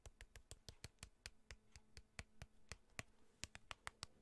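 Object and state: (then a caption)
Cardboard card box tapped. A small, flat, printed cardboard box that is hollow and appears to hold cards is held in the hand and tapped on its surface with fingertips and nails close to the microphone. There are 21 quick, dry taps with bright, crisp clicks and soft low thumps, each dying away almost instantly, over a faint steady low hum.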